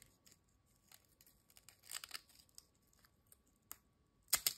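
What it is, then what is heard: Ridged potato chip being snapped and crumbled. A single thin, dry, crisp ridged potato chip is folded, snapped and crumbled by fingertips over a glass bowl. Quiet, bright, short crackles and clicks come in scattered bursts, with a denser crunch around the two-second mark. The loudest, sharpest snap comes near the end.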